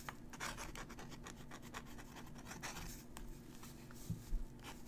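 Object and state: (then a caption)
Crumpled paper sheet. A metal dip-pen nib scratches out cursive writing on a crumpled, aged-look paper sheet held down by a fingertip. Quiet, dry scratching strokes come in quick successive bursts over a steady low hum, with a couple of slightly louder taps near the end.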